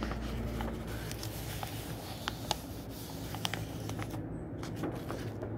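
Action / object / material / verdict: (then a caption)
scrape / old paper book pages / paper / none. Fingertips slide under the edge of an aged paper page in an old book from 1948, rub it and turn it over. Soft papery rustling and a scatter of small, sharp ticks and crinkles sit over a steady low hum.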